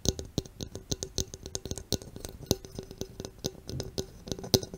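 Long red nails tap and scratch along the body and rim of a green Mountain Dew aluminum soda can, a hollow cylinder held close to the mic. A quick, uneven run of sharp metallic clicks and light scrapes, each with a short hollow ring near 380 Hz and bright, tinny overtones that die away almost instantly.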